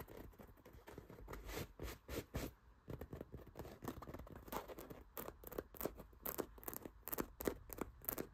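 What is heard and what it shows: Fingertips and nails scratch across a soft cream fabric throw pillow with stitched dots and small buttons. The result is a quiet, irregular run of quick, dry scratching strokes, each fading almost at once, with brief pauses between them.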